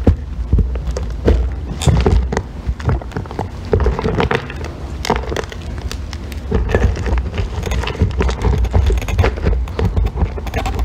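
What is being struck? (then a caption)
Bar of soap scraped with a thin metal tool. A thin metal blackhead-remover tool scrapes and shaves curls off a small, solid green bar of soap held in fingers with long painted nails, with a pile of shavings below. The result is a steady run of close, crackly scraping strokes with a low, muffled body and short, quick-fading clicks.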